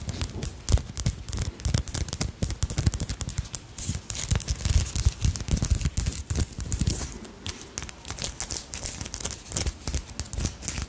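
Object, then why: Beaded brooch with glass beads and crystals. A small hand-embroidered dragonfly brooch with purple crystals, glass beads and a dangling bead tail is held in the fingers and scratched and tapped with long acrylic nails. Dense, rapid clicks and scratches run throughout, with short, dry ticks over a muffled low thump and bright glassy edges.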